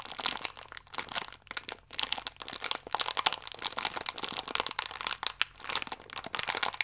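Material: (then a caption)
Plastic film. A small, full biscuit pack wrapped in plastic film is squeezed and crinkled with the fingertips. It makes a dense, continuous run of bright, crackly crinkles that surge and ease in quick bursts. There is almost no low end and no ringing between the crackles.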